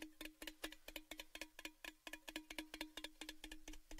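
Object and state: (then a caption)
Metal gift tin. A tall, red, hollow, open-ended cylindrical metal Baileys gift tin is held upright and tapped quickly with the fingertips. About two dozen quick, bright, irregular taps each carry a short metallic ring with a tone near 310 Hz. Each tap dies away almost at once.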